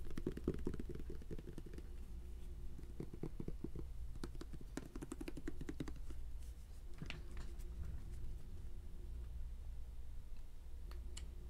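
Fingers tap rapidly on a bottle of Cornhusker's hand lotion, which is hard to open, producing dry, short clicks with a hollow tone around 370 Hz. The taps come in quick clusters with brief pauses over a steady low hum.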